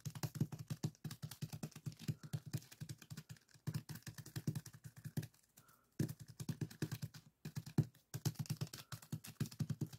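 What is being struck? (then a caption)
Plastic zip-lock bag filled with sand. Fingertips tap rapidly on a small clear plastic zip-lock bag full of purple sand granules resting on a wooden table. The quick, soft taps make dull, low thuds with a faint grainy crinkle, pausing briefly around the middle and again later before continuing.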